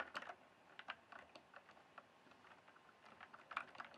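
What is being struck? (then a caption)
Plastic mechanical keyboard. Fingertips type and tap on the keys of a full-size backlit plastic mechanical keyboard with a hollow case. Quiet, irregular clicky keystrokes come in uneven bursts, each a short, dry, bright tick with almost no ring and no low end.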